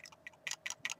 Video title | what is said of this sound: The Eagle VV & VW Mod ( aka vamo ) | It just rattles. It does work, but you hear the battery rattling and it'll turn on and off as it makes contact